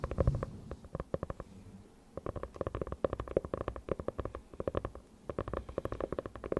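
A closed dark hardcover notebook with a faux-leather cover is held beside a pink Yeti microphone and tapped and scratched on its cover with long nails. Quick, dry tapping clicks come in fast bursts with a soft, low thump beneath them, separated by brief quieter stretches of faint scratching.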